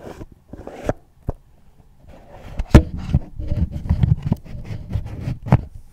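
Fingertips and long nails scratch and tap the sides and lid of a small, hollow, red floral cardboard gift box resting on a tablet. A few sparse, dull taps give way to denser, low, hollow scratching and tapping with sharp, bright clicks in between. Each sound dies away almost instantly.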